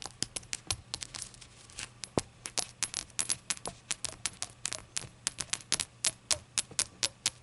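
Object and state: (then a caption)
Glazed ceramic shot glass. Long acrylic nails tap rapidly on a small, hollow, empty rainbow-glazed ceramic shot glass resting on a towel. The result is a steady run of sharp, bright clicks with very short ring, sitting over a faint low hum.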